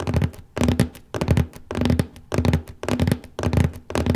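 Fingertips tap steadily near the lower middle of the large cardboard lid of a copy paper box, making soft, dull, low thumps with a hollow boom and almost no ring. The taps come in eight quick clusters at a fairly steady pace, each fading before the next.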